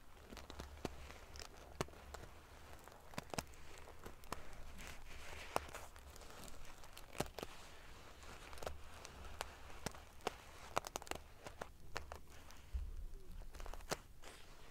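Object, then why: Padded pillow covered in metal sequins. Fingernails scratch and flick the rows of silver metal pieces covering a large padded metal-sequin fabric pillow. The result is a steady crinkly, prickly rustle broken by many sharp, bright clicks that die away instantly, over a soft low rumble.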